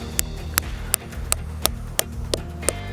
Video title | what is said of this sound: Are You Ready to TAP? | pound until you hear the solid sound that tells you that your spout is tight in the tree